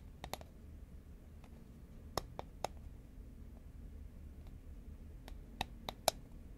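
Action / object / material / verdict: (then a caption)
tap / cylindrical paperboard chip can / paperboard / none. Fingernails tap along the side of a tall, hollow cardboard Pringles can made of composite paperboard, held horizontally in both hands. Eight short, dry clicks come at irregular intervals over a low, steady background hum. The taps fall in loose clusters and carry a hollow mid-pitched knock with a bright edge.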